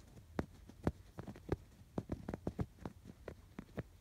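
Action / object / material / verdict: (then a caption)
scrape / stuffed canvas pillow with yarn embroidery / canvas, yarn / none. Fingertips scratch across the stitched rows of a stuffed canvas pillow with raised blue and yellow yarn embroidery. A quick series of short, soft scratching strokes is heard, each with a dull low thump and a brief brushy top, over a quiet low hum.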